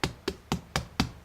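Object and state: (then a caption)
Baked bread loaf, hollow (done). A white bread loaf, baked for 40 minutes, is knocked five times in a steady rhythm. Each knock is short and hollow, with a low thump and a quick, dry fade. The hollow sound shows the bread is done.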